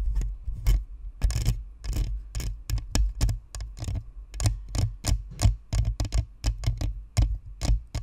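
Long nails scratch and tap the top of a white spherical Blue Snowball microphone, a hollow plastic shell with a perforated metal grille. The result is a rapid, irregular series of short, dry clicks and scrapes, each with a bright, crisp edge over a deep, boomy thump that dies away almost at once.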